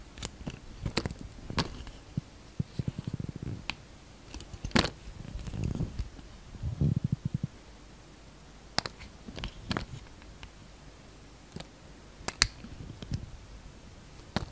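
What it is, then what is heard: Bar of soap being shaved with a knife. A utility knife shaves thin slices from the edges of a solid translucent green soap bar. Soft, low scraping rumbles come in short bursts, broken by sharp, bright clicks as the blade cuts through. Each sound stops dry with almost no ring between strokes.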